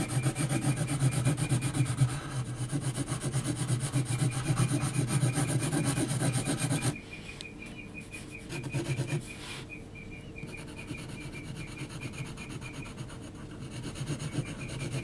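An HB graphite pencil held in the hand is scratched across a large flat sheet of heavy textured mixed-media paper, shading the face of a drawing. Rapid, rhythmic raspy strokes, about four per second, carry a low, grainy rub for the first seven seconds. They then drop to softer, lighter scratching with a brief louder burst before building slightly again at the end.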